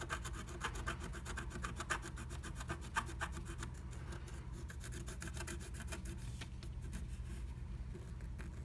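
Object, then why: Coated scratch art paper scraped with a wooden stylus. A wooden stylus scratches the coating of a flat black-coated scratch art sheet inside the butterfly cutout of a blue stencil. Rapid, dry rasping strokes repeat steadily over a low, constant rumble, with brief bright scratchy edges and a few slightly louder strokes.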